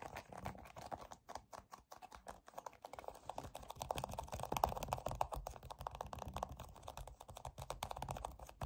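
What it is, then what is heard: Plastic squeeze tube. A white soft plastic cosmetic tube filled with cream, with a yellow plastic cap, is gripped and scratched along its body and cap with fingertips and short nails. The result is a quiet, irregular stream of dense, dry scratching and tapping with a soft, mid-toned, slightly hollow plastic character.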